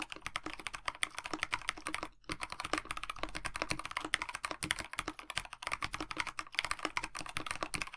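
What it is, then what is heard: Mechanical keyboard with PBT keycaps. A KBD67 Lite 65% mechanical keyboard with a black plastic case, white blank PBT keycaps and lubed Dinokeys Mints linear switches is typed on with the fingertips of both hands. It produces continuous, rapid, short clacking taps centered around 2 kHz, with a brief pause just after two seconds. Each tap is crisp and dies away almost instantly.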